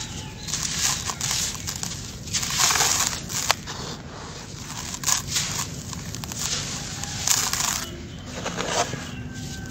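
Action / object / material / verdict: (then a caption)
scrape / sand-cement mix in a plastic basin / sand-cement / none. Bare hands scoop, squeeze and crumble handfuls of grey, grainy dry sand-cement mix in a pink plastic basin, letting the grains fall before scraping them into the loose pile. The result is a steady, bright, gritty crunching and hissing trickle, with louder crumbling bursts rising and falling throughout.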